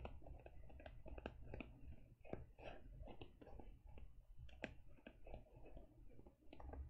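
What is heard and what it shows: Fingertips and long nails tap the front of a closed teal faux leather e-reader cover near its lower edge. The result is a quiet, irregular run of short, dull taps and sharper nail clicks that stop almost instantly, over a low, steady rumble.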